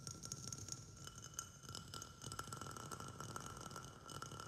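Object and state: Glazed ceramic plant pot.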